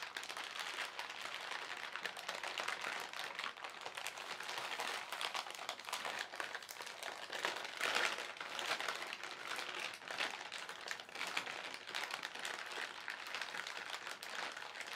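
Fingertips slowly crumple and crinkle the film of a thin white printed plastic shopping bag with paint supplies inside. The result is a steady, quiet stream of bright, dense crackling with almost no low end, swelling into a slightly louder rustle around the middle.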